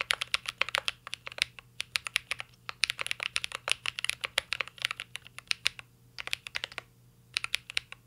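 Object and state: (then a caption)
Mechanical keyboard typing. A mint-green Cyberboard R3 mechanical keyboard with a metal case and plastic keycaps is typed on continuously with the fingertips. It gives a fast stream of short, bright, clacky keystrokes centered around 2.5 kHz, with brief pauses near the six- and seven-second marks before the typing resumes.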